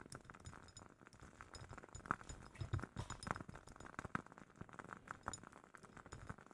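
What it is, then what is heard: Glass candle jar, tapped. A glass candle jar from a woodwick candle is tapped, giving quick, soft clinking glass taps with a ring near 1.3 kHz and some low thumps. The taps come rapidly and irregularly, each dying away almost at once.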